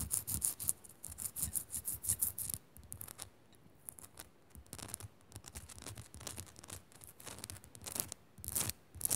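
Long nails scratch rapidly up and down the rough surface of a small, solid pink Himalayan rock-salt crystal lamp. Quick bursts of bright, gritty rasping alternate with low thumps. A quieter stretch of softer scratching is followed by a final loud flurry.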